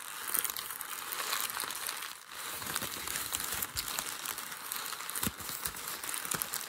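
Fingers scrunch and press the folds of crumpled thin grey packing paper resting on a white desk. A steady, bright crinkling and crackling runs throughout, with sharp little crunches scattered through it and a brief quieter dip just past the two-second mark.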